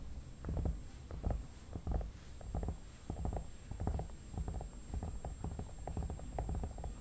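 Fingertips tap and rub the temples and cheeks of a hollow vinyl mannequin head, producing soft, muffled low thumps mixed with brushing friction in an uneven rhythm. The sound sits mostly in the deep low range with short decays, over a faint steady high-pitched tone.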